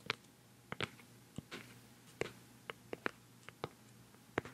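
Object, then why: Plastic cosmetic jar lid. A round, white, palm-sized hollow plastic cosmetic pad jar with a black lid is held close and tapped on the lid with nails and fingertips. Twelve short, dry, clicky taps with a bright, hollow ring come at an uneven pace over a quiet, steady low hum.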